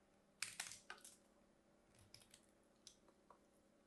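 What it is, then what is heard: Bar of soap being carved. A metal craft blade carves a solid, hand-sized pink bar of soap with a white stripe, held with long manicured nails, scraping and slicing thin flakes off its edge. The cuts come as a quiet series of crisp, bright, clicky scrapes, a few close together early on and then sparser, each fading quickly against a faint low hum.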